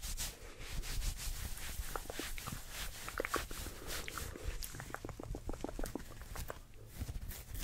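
Fingertips and nails scratch and rub quickly along the sleeve of a worn olive ribbed knit sweater made of soft fabric. The result is a dense, fast run of short, dry scratching strokes with bright, hissy edges over a steady low rustle.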